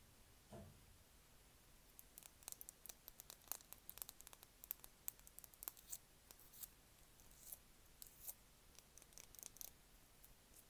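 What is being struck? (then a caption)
Painted wooden pencil. Long fingernails scratch and tap along a solid, yellow-painted wooden pencil held at an angle in one hand. A soft low thump comes near the start, followed by a quiet, irregular run of a few dozen crisp, bright clicks and ticks with faint scratchy rustling between them.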